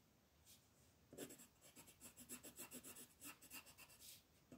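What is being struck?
Colored pencil rubbed on a thin paper page over a wooden table.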